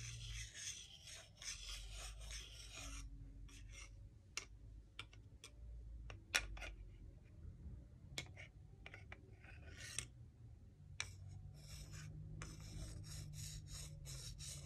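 A solid wooden salad spoon and fork, held horizontally, slide and rub against each other. Bright, raspy scraping comes in long bursts over a steady low rumble, broken by short, sharp wooden clicks. The sound stays quiet throughout.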